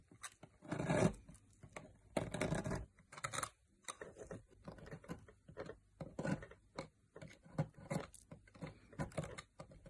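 A metal knife blade carves into a solid green opaque bar of soap, shaving off curls and flakes. Soft, dry scraping strokes come in quick repeated bursts, each a short rasping shave with little ring after it. The sound is mostly muted and low, with a few longer, louder carving passes.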